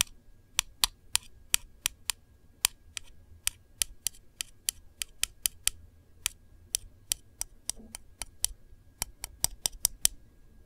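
Long nails tap and trace across the surface of a small, round, white and gold printed metal candle tin lid on a hollow container. Around thirty crisp, bright, clicky taps land at an uneven pace, each dying away almost at once, over a faint low rumble and soft scratchy tracing between them.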